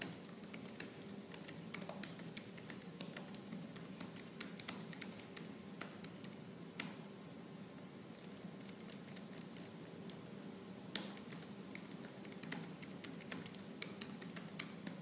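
Fingertips with purple nails type fast and forcefully on the black plastic keys of a silver laptop. The result is a quiet, steady stream of rapid, dry plastic clicks and taps with occasional sharper keystrokes, over a faint constant hum.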